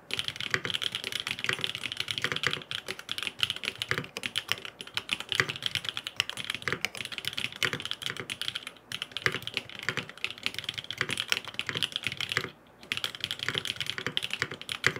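Fingertips type rapidly on a grey aluminum FROG MINI mechanical keyboard with blue and purple plastic keycaps and no foam inside. The result is a dense stream of short, bright clacks with almost no ring and little low end. The typing runs nearly continuously, with brief pauses near 8.8 and 12.6 seconds.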